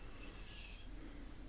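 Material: Nothing is struck.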